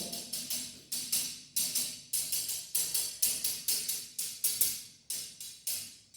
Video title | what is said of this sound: #Amazing Techniques to check the sound air gap under ceramic Tiles | This is the solid sound.